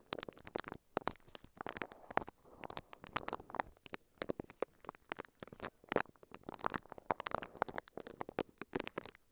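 A microphone covered in clear crinkly plastic wrap is brushed and scratched with the bristles of a pink silicone scalp massager held in both hands. The result is a dense, irregular run of sharp crinkling and scratching bursts that reach into the bright high end, with faint rustle between strokes.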